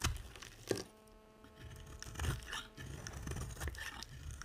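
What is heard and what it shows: A utility knife blade scrapes and carves a solid, dry pink soap bar held in the hand, making soft crunchy scraping and shaving sounds. Brief sharp scrapes are spread through the clip, with a faint steady hum partway through.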